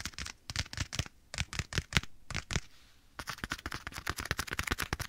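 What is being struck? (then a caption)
Leather glove on a hand. Fingertips and nails tap and scratch a black leather glove worn on a hand held at the right ear of a microphone. Quick, dry taps with brief scratchy crackles come in uneven bursts, pause briefly, then return as a faster, denser run of taps.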